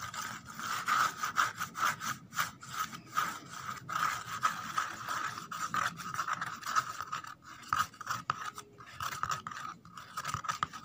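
Long nails scratch the inside surface of an empty corrugated cardboard box, and a thumbnail scrapes along its edge. The result is a quick, uneven run of quiet, dry, rasping strokes with little low end and a steady papery resonance around 1.2 kHz. Each stroke dies out almost immediately.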